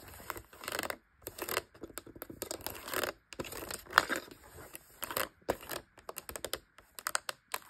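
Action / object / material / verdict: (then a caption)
tap / plastic label maker casing and rubber keys / plastic / none. Long light-blue nails tap and scratch the top of the black plastic casing and the rubber keys of a hollow Brother P-touch label maker lying on a bedspread. Dozens of quick, dry clicks and scratchy rasping bursts come in irregular clusters, with no ring after each one and almost no low end.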